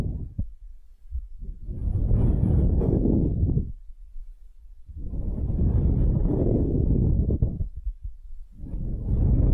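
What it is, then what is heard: Wooden half sphere. Long nails scratch a small, solid wooden hemisphere held in the palm. The result is a dull, low, rumbling scrape that swells and fades in long waves separated by quiet gaps.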